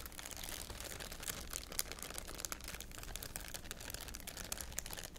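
A thin, clear, empty plastic wrapper or bag is held in both hands and crumpled and crinkled with the fingertips. It makes a steady, dense stream of bright, crackly crinkles with frequent sharp snaps over a faint low rumble.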